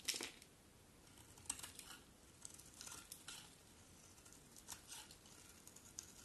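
A solid cream-colored soap bar held in the hand is quickly scraped with a metal utility knife blade, sending shavings flying. Quiet, bright, crisp scraping strokes come in short bursts, the first one loudest, each fading almost at once with little low end.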